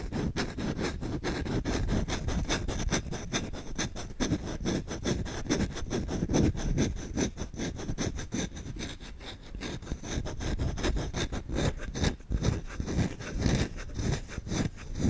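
A solid wooden spoon held in the hand has its bowl and then its handle scratched fast with short nails and fingertips. The result is a rapid, uneven run of rough scratching strokes, mostly low and thick with a faint bright hiss above. The scratching stays steady throughout, with slightly louder bursts near the end.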